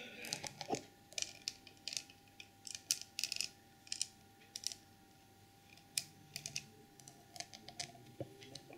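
Long purple nails tap and scratch the textured, ornate painted red and gold lid of a small porcelain elephant trinket box set with jewels and a crystal knob. Quiet, bright, dry clicks and short scratches come in irregular bursts, each dying away almost at once, with almost no low end. A faint steady hum runs underneath throughout.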